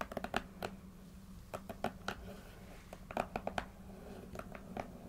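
Long acrylic nails and fingertips tap and scratch the front and top faces of a small, closed, taped corrugated cardboard shipping box that is hollow with contents inside. Short, dry, clicky taps come in quick clusters with brief scratchy rustles between them, over a steady low hum. Each tap dies away almost instantly, with no ringing.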